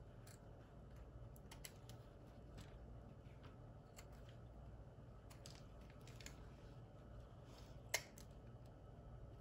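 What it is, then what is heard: Soap bar being carved. A small piece of solid white soap, held in the fingers, is carved with the metal blade of a red-handled utility knife. Quiet, bright, crisp scraping and shaving ticks come and go over a steady low background hum, with a sharper snapping cut near the end.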